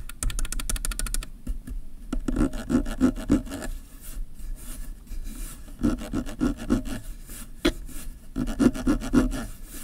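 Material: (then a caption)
Plastic. Fingertips and nails scratch and rub the ridged focus/zoom ring of a black plastic kit zoom lens mounted on a Canon DSLR body. The hollow barrel gives off rapid, uneven rasping strokes in clustered bursts, with a dull, hollow low-mid tone and very short decay.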